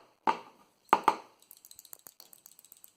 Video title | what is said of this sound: Land Rover Series 2a 88 - Part 4: Front and Rear Axle Restoration | you can shake it and you can hear the ball